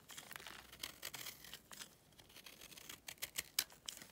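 A utility knife scrapes the top of a small, solid, pale block of dry clay held in the hand, curling off crumbly flakes. The sound is a quiet, bright, dry scratching and crackling with no low end, broken by sharper ticks and clicks that grow louder toward the end.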